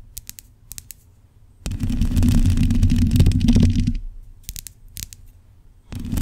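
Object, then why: Metal mesh microphone grille. Long acrylic nails scratch and tap the black metal mesh grille of a USB microphone. Scattered sharp clicking taps lead into a dense, low, rumbling scrape that lasts about two seconds, then more taps follow before the scratching starts again at the end.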